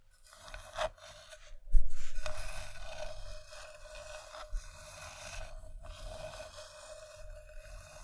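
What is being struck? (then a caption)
Wooden bowl. Long dark-painted nails scratch and tap the inside and rim of an empty, hollow, medium-sized round bowl of polished reddish-brown wood resting on green fabric, with a second bowl sitting untouched beside it. Soft, uneven scraping and rasping runs throughout, with a low, dull rumble and a few quiet, short taps that die away at once.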